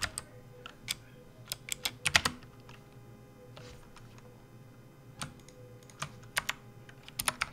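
A full-size plastic RGB backlit computer keyboard on a desk mat is typed on with fingertips, one hand leaving near the end. Irregular bursts of bright, sharp key clicks with very short decay come in clusters over a faint low hum, with a quieter gap in the middle before the typing picks up again.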